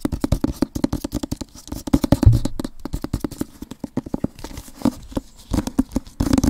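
An Avatar-themed rectangular cardboard book box set is held close to the mic, moved around, and rapidly scratched and tapped with fingernails and fingertips. A fast, uneven string of short, dull, low-pitched taps mixes with scratching and hand-handling sounds, with very little high-frequency content and almost no ring.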